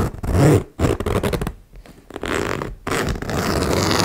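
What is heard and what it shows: A metal zipper on a small turquoise embossed faux leather cosmetic pouch resting on a wooden table, its slider pulled back and forth along the metal teeth by fingers with long nails. The result is a series of rough, buzzing zips with strong low-end rasp, separated by brief pauses.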